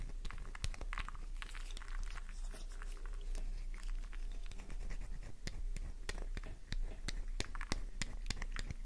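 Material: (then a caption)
Soap. Long nail tips scratch a solid pink flower-shaped bar of soap held in the palm, shaving off bits of it. Crisp, dry scraping and sharp, bright clicks come in a fast, uneven stream over a steady low hum. The scratching keeps a constant quiet level throughout.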